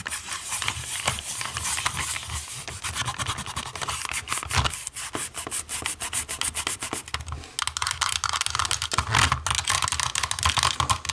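Long nails tap and scratch the ribbed, dotted textured back of a small, hollow black plastic TV remote lying face down. A dense stream of quick, bright clicks mixes with raspy scratching, louder and busier in the last few seconds.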